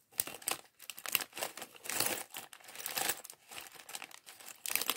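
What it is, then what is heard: Plastic bag of toy bricks. A small, clear, thin plastic bag partly full of loose plastic LEGO bricks from the Chevrolet Corvette C8.R Race Car set 76903 is held in both hands while fingertips crinkle and rub it, and the bricks inside may shift. The result is a dry, bright run of crinkling and crunching bursts with almost no low end and no ring between them.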